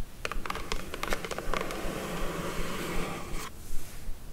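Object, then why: Rigid paperboard box lid. Long acrylic nails scratch and trace across the lid of a closed, hollow, light blue rigid paperboard beauty box. Quick, crisp scratchy ticks give way to a longer, steady scrape that stops abruptly, leaving a quiet low background hum.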